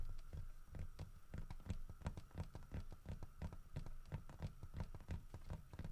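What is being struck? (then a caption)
Carved wooden bear statue. Fingertips and nails tap quickly over the head and body of a solid carved wooden bear statue holding a fish. The dry, short, low knocks come in a fast, uneven patter with brief clicky edges, over a faint steady tone.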